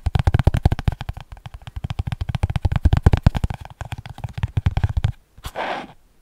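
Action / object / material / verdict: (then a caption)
tap / paper notebook with cardboard cover / paper, cardboard / none. A small spiral-bound paper notebook with an orange cardboard cover is held flat above the mic and tapped with fingertips along its cover and edge. About forty quick, dull, low thumps come in rapid, uneven bursts, with a deep hollow tone around 74 Hz. After a brief pause, a short soft papery swish ends the clip.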